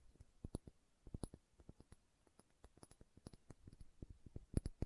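Long nails tap and scratch the body of a small dark green glass serum dropper bottle held sideways. The result is a quiet, irregular run of quick, dry clicks with a soft low thump and a faint bright tick on each strike, dying away almost instantly.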